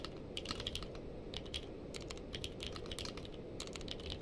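Two hands type with the fingertips on a purple-case mechanical keyboard with plastic keycaps. A quick, uneven run of bright, clacky key clicks plays over a steady low background rumble.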